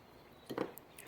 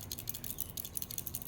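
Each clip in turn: First: new relay, no internal rattle. Second: failed relay, loose part rattling inside.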